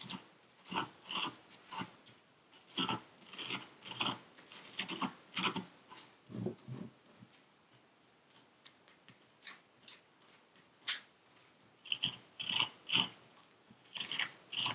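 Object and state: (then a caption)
Kinetic sand in a paper cup. A metal pick with a wooden handle, held in gloved hands, scrapes purple kinetic sand in a paper cup. It makes short, crisp, gritty scraping strokes that are bright and high with almost no low end. The strokes come in irregular bursts, thin out to sparse quieter scrapes in the middle, then cluster again toward the end.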